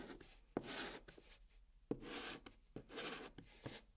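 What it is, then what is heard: Chalk drawn on a cardboard box. A hand draws strokes with blue chalk across the flat top of a brown kraft cardboard box. Each stroke opens with a short tap as the chalk meets the surface, then becomes a bright, dry scratchy rasp. The quiet strokes come at an uneven pace with brief pauses between them.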